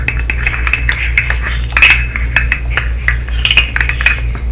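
A segmented hollow plastic fidget slug toy is held close and its segments are tapped and clicked with long nails. The result is a rapid, irregular series of short, bright plastic clicks with a faint ringing tone around 2.6 kHz. A steady low hum runs underneath.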